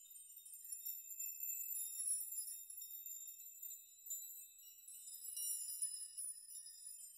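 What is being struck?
Hanging metal nails.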